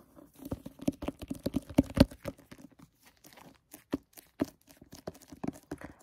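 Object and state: Plastic-jacketed hardcover book.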